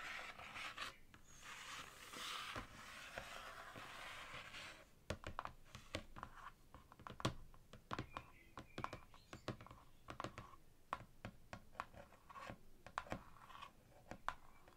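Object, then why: Laminated cardboard ring binder cover. Long fingernails work over the glossy laminated cardboard cover and spine edge of a thick, closed ring binder. The first few seconds are a soft, steady scratchy rubbing. After that come many quiet, sharp, dry taps with bright clicky tops, in an irregular run of separate hits that stop almost instantly.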